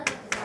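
Two knocks on the polymer body of an airsoft G3 rifle give short, dense taps with a bright click and little ring. The body does not sound hollow, which shows it is made of solid, thick polymer, since thin polymer would sound ringing.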